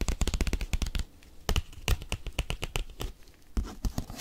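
A padded bubble mailer envelope is tapped and scratched with paperclips. A fast burst of dull, low taps with bright crinkly ticks fills the first second, followed by a quieter scratchy stretch and then slower, spaced taps. Each tap dies away almost instantly.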